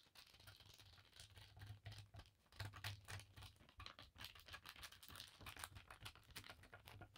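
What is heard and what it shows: Fingertips and long nails rapidly scratch and rub a thin navy blue paisley cotton bandana laid flat on a table. The result is a fast, uneven run of dry, bright scratching strokes with crisp, short bursts over a steady low hum.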